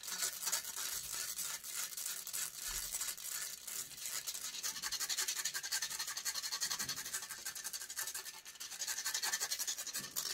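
Long grey nails scratch rapidly and vigorously across the metal mesh grille of a silver microphone. The result is a dense, bright, rasping scrape with quick strokes that blur into a steady hiss, with almost no low end.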